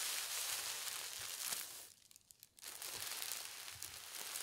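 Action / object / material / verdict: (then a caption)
scrape / thin tissue paper sheet / paper / none. A thin, translucent polka dot tissue paper sheet lies flat on a table while fingertips and long red nails slowly rub and smooth it. The result is a soft, bright, continuous crinkling hiss that drops to near silence for about half a second before resuming.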